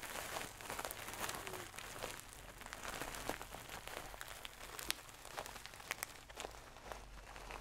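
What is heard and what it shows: Long nails scratch and rub a medium, soft stuffed pillow covered in shiny gold satin fabric, held in the hand. The result is a quiet, continuous, bright, scratchy rustle broken by many quick, crisp scrapes and swishes, with a faint steady low hum underneath.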